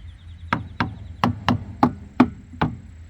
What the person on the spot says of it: it bounces back good and and it's got a good thump sound, that means your tire's good and aired up